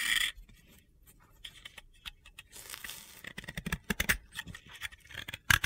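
A utility knife blade shaves powdery layers off a dry, powdery, hand-sized solid light blue soap ball (bath bomb) held in the fingers. It makes a quiet opening scrape, then a rapid series of dry, bright, crunchy scratches and short gritty strokes that grow louder toward the end.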